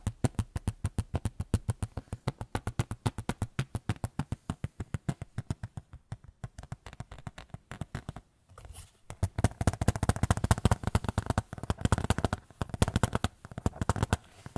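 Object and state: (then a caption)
Small photo frame. A small white photo frame is tapped rapidly with fingertips, producing short, dull, low-pitched knocks. The taps run in a steady quick stream for about eight seconds, pause briefly, then resume denser and louder until the end.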